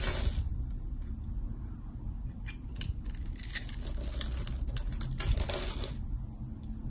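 A palm-sized, solid rectangular bar of green soap with white stripes is held in one hand and scraped and carved with a metal box-cutter blade, with the shavings falling onto the table. Bright, crisp scraping and crackling strokes come in short bursts over a steady low rumble.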